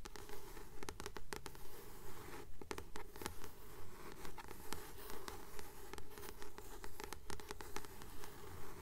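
Long nails tap and scratch the glossy paper cover of a blue *Practical Magic* paperback held upright, a solid paper book. A steady, regular rhythm of soft scratchy swells with sharp, bright clicks sits over a low, dull thud-like body.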